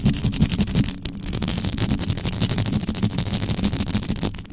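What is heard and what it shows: Very long pointed acrylic nails from both hands scratch fast, right on the hollow, uncovered round metal mesh grille of a large black USB condenser microphone. The result is a dense, continuous rasping scratch with a heavy, boomy low rumble beneath and a thin, bright hiss on top, steady throughout with brief dips in level.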